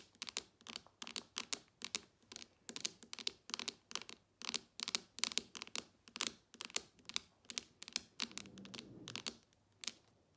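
Long nails tap the glass screen of a smartphone lying flat on a table, giving about three dozen sharp, bright clicks in an uneven rhythm. Near the end the tapping gives way to a brief, softer scratching rub before a few final taps.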